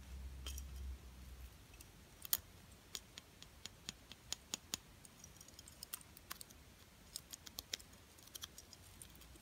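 A small, solid plastic butterfly ornament coated in silver and gold glitter is held in the hand and tapped and scratched with long painted nails. The result is a quiet, scattered series of sharp, bright clicks and ticks, each dying away almost instantly, over a soft low rumble that is strongest in the first second or so.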